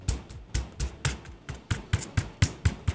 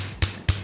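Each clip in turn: First: solid, non-rattling keyboard keys. Second: rattly, loose keyboard keys.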